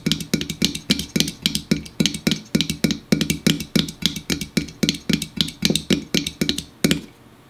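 Fingers tap and drum quickly on an aluminum store-brand diet soda can for ASMR, producing a fast, uneven stream of short, hollow metallic clicks with a low resonant tone around 210 Hz and bright high-end ticks. Each tap dies away almost at once, and the tapping stops shortly before the end, leaving quiet.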